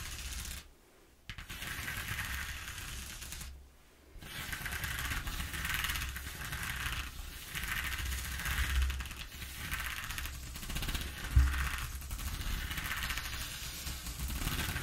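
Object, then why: Corrugated cardboard sheet. Fingertips and nails scratch and tap the ridges of a ribbed corrugated cardboard sheet with torn patches, making a steady, rough, papery rasp. Two short pauses break it up early on, and a sharper tap stands out near the end. A low, dull rumble sits under the brighter scratching throughout.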